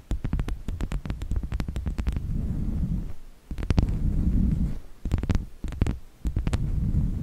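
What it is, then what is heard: Wooden log slice, tapped. A small, solid round slice of natural wood with a bark edge, resting on a fluffy microphone windscreen, is tapped and scratched with the long nails of both hands. Quick clusters of sharp, dry clicks alternate with low, muffled rubbing and scratching. The sound is heavy and boomy in the bass, with almost no ring after each tap.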